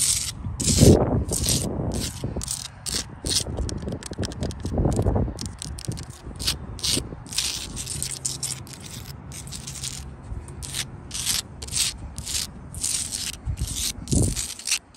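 Long blue acrylic nails scratch and tap the edges and faces of a solid wall of rough orange sandstone blocks with grey mortar. Dry, rapid, rattling scrapes with bright hissy bursts are heard throughout, along with a few heavier low rubbing thumps near the start, middle and end.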